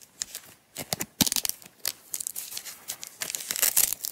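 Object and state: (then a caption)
Velcro strap being pulled apart. Long acrylic nails and fingertips pull a strip of green nylon hook-and-loop (velcro) strap apart from a small coiled roll and unwind it. The result is a series of short, bright, crackly ripping and tearing bursts with almost no low end, some louder and sharper than others.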